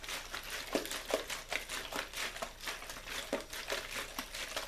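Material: Plastic.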